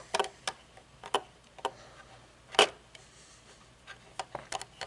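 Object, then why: Metal-frame sunglasses. Long nails tap and scratch the metal temple arm and frame of aviator-style metal-frame sunglasses with dark lenses, then the sunglasses are laid on the table. Short, sharp, bright clicks come at uneven intervals with faint scraping between them, and one louder knock lands partway through.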